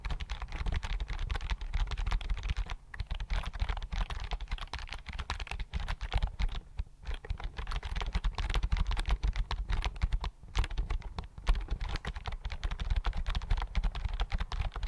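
Fingertips type steadily on a slim white plastic computer keyboard held in front of the microphone, making a dense, fast run of short, dry key clicks with almost no ring. A heavy low thump sits under the clatter, and the typing pauses briefly a few times before resuming.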